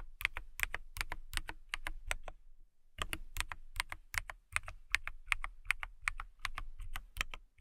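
Long manicured nails type on a transparent, clear acrylic mechanical keyboard in quick, uneven bursts of sharp, bright clicks, each with a soft low thump underneath. The typing pauses for about half a second near the 2.5-second mark, then continues steadily to the end.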